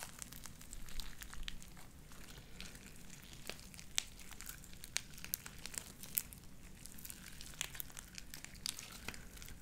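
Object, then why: Beaded slime worked between the hands. Light-blue beaded sticky slime is stretched thin between the hands, then squeezed in a fist. Quiet, sticky crinkling and squelching run throughout, broken by sharp, bright pops that snap out over a low rumbling bed.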